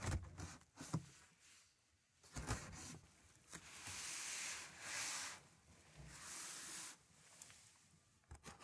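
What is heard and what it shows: A hand's palm and fingertips rub and scratch along the top of a large, closed, taped corrugated cardboard box that is hollow with contents inside. Long, bright, hissy scraping swells alternate with short, dull, low taps and brushes at the start and end. The sound is soft and dry, with no ring.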